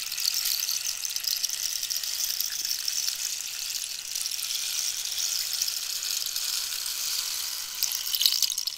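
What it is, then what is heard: Cactus wood rainstick. A long, hollow rainstick made of dried cactus wood, with pellets inside, is tilted and shaken by hand while long nails scratch and tap the wood. The result is a steady, bright hiss of pellets trickling like rain, almost entirely high-pitched with no low end. Toward the end, a few sharper taps and rattles stand out.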